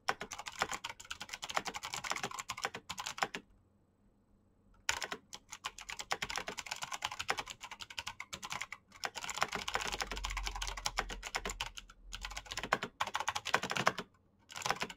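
Fingertips tap rapidly and steadily on a black plastic mechanical keyboard with backlit keycaps while typing, producing dense, crisp, bright key clicks with very short decay. The typing stops for a quiet pause of about a second and a half near the 4-second mark, then resumes, with another brief break just before the end.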